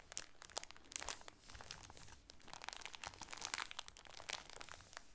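A plastic-wrapped, sunburst-pattern shower curtain package is held in both hands and crinkled with the fingertips and nails. The result is a quiet, steady stream of bright, crisp crackles and crunches, with sharper snaps standing out here and there.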